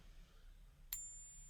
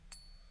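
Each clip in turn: First: copper-nickel coin, not silver. Second: genuine silver bullion coin.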